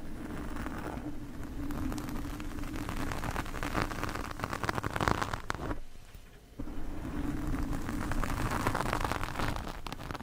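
The tines of two metal forks, one in each hand, scratch a large, soft, porous black foam windscreen on a microphone. The result is a dense, continuous scratchy rustle with a steady low hum underneath. It quiets briefly just past the midpoint, then the scratching resumes at full strength.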